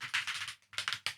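A plastic dropper bottle of acrylic paint with a mixing ball inside is shaken to mix the paint. It produces quick, bright, clicky rattles in several bursts as the ball knocks inside the bottle. The rattle confirms there is a mixing ball in the bottle.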